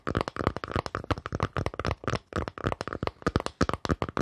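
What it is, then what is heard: Wooden surface tapped with fingers. Fingers tap quickly on a wooden surface, making a rapid run of about 25 dull, knocking taps. Each tap is short and dies away almost at once, with a low, woody thud and little high sound.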